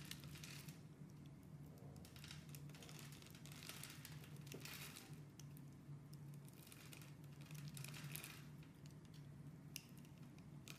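A metal blade carves small pieces off a solid, oval, orange, translucent glycerin soap with a textured grid surface, held in the hand. The cutting makes soft, continuous crunching and scraping with bright bursts as pieces come away. A steady low hum runs underneath throughout.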